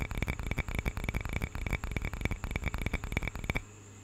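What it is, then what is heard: Carved wooden cup. Fingertips tap and scratch a small, hollow carved wooden cup with a bird relief, held close. About nineteen quick, uneven, hollow knocks are heard, with a dull low body and a short bright edge near 2 kHz. The tapping stops at about 3.6 seconds, leaving a faint steady hum.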